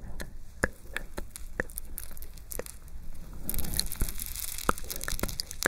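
Long nails scratch the plate of a gold-tone rhinestone metal chain epaulette, and its long dangling metal chains are swung and dropped onto an open palm. Sharp, dry clicks and a steady scratching rustle sit over a low rumble, and the jingle turns denser and brighter in the second half of the clip.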